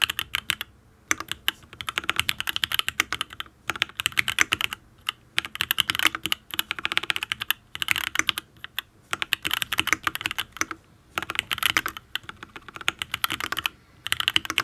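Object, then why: Mechanical keyboard, aluminium case, ABS keycaps. Fingertips type on a full-size custom mechanical keyboard with an aluminium case, ABS keycaps and linear switches. Rapid, bright clacks come in bursts, separated by short pauses. Each keystroke is crisp and dies away almost instantly.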